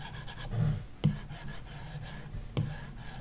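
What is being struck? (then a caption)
Plastic stylus tip on a glass touchscreen with a matte protector film. A plastic stylus tip rubs back and forth on a large iPad glass touchscreen with a matte screen protector film, shading a shape with a soft, low rasping scratch. A louder stroke swells early on, followed by two sharper ticks of the tip against the screen.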